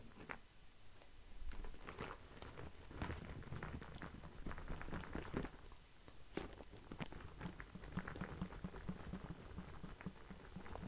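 Fingers tap and scratch the surface of a cardboard LED-lights box held to the side. The result is a quiet, steady run of soft, dull taps and dry scratching rustles, mostly low in tone with short, dead taps and little brightness.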